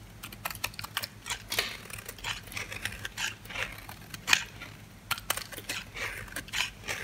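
A metal blade shaves crunchy white flakes off a dry, hand-sized oval bar of soap painted orange and black with an embossed logo, held in the hand. Quick, dry, bright crunches and scrapes repeat in a steady rhythm with almost no low end, each cut ending sharply with no ring.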